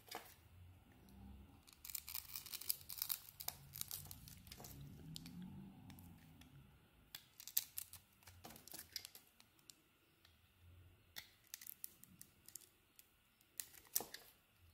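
A solid blue soap bar with a pale green coating, held in hand, is carved with a utility blade, shaving off curls. Quiet, dry scraping and crisp crackling cuts come in bursts, with sharp bright clicks scattered between softer stretches of low rustle.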